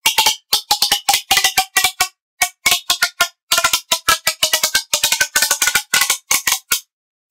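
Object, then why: Corrugated plastic pop tube. A long, hollow red corrugated plastic pop tube toy is stretched and compressed with both hands, fingertips gripping its ribs. It makes rapid bursts of sharp, bright popping and clicking sounds, centred around 3 kHz with no low end. Each pop dies away almost instantly, separated by brief silences.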